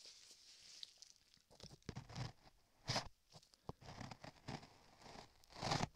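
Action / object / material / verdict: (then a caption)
scrape / modeling clay over a microphone, scraped with a metal chisel / modeling clay / none. A metal chisel held in a gloved hand scrapes the lower surface of solid beige modeling clay molded over a microphone ear. Quiet, irregular bursts of close, crunchy scraping and tearing-like rasps come and go, with a bright hiss over a soft low rumble. The strokes come in uneven clusters with short dry pauses between them.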